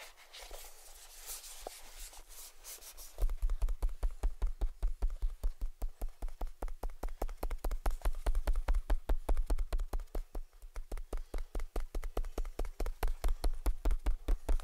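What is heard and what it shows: Fingertips tap quickly on the lid and sides of a small, hollow, closed cardboard gift box tied with a white ribbon. After about three seconds of soft, faint tapping, a fast, steady run of dull, hollow taps begins, each with a deep, low thump that dies away almost at once. The tapping continues without pause to the end.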